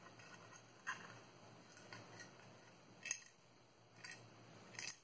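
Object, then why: Small hard plastic cube box. Long manicured nails tap a small, hollow, transparent hard plastic cube-shaped box held in the hands; it is nearly empty, with a small green item inside. The taps are quiet, bright and sharp, with a very short ring, spaced irregularly over a faint low hum.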